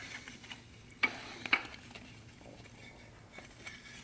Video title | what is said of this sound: TH400 DIRECT DRUM REBUILD, 7 Clutch, 34 element sprag, dual feed. | till we hear it metal-on-metal that sounds like metal on metal